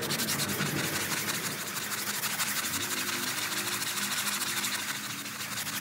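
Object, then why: Synthetic-pile rug scrubbed with a stiff-bristle brush. A gloved hand vigorously scrubs a small, wet, soap-foamed printed synthetic-pile doormat rug with a round stiff-bristle brush. A continuous, bright, hissing rub-and-scrape runs steadily throughout, with faint low tonal undertones and no clear separate strokes.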